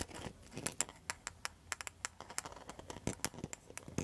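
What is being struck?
Rattan and mosaic coaster tapped with metal nail tips.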